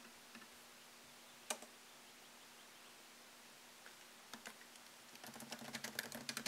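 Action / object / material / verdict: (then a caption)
tap / laptop keyboard, plastic keys in aluminium body / plastic / none. Fingertips tap the low-profile plastic keys of a MacBook Pro keyboard set in a thin solid aluminum chassis, producing quiet, short, bright clicks. A few scattered keystrokes break a near-silent stretch, then the typing speeds into a quicker, uneven run of taps at the end, over a faint steady low hum.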